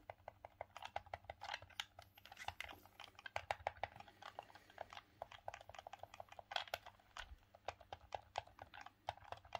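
Thumbs click the D-pad and face buttons of a grey, hollow, hard-plastic Sega Saturn game controller held in both hands. The result is a quiet, rapid, irregular stream of dozens of short, dry plastic clicks with almost no ring, centred around 800 Hz with bright high edges.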